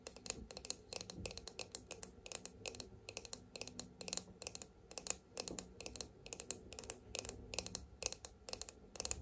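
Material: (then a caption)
Plastic. Long almond-shaped nails rapidly tap and scratch the hollow, shiny silver-gold plastic back shell of a small oval hand-held detangling hairbrush with a black bristle face. The result is a fast, dense stream of sharp, bright clicks with a light scratchy texture, before the brush is turned to show its bristle side.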